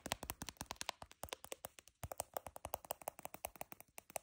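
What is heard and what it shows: Long fingernails tap and scratch the side and stacked sole edge of a beige, glossy patent-leather high-heel pump worn on a foot. A quick, steady run of about 34 short, dry clicks sounds bright with a tonal ring near 1 kHz, quiet overall, and each one dies away instantly.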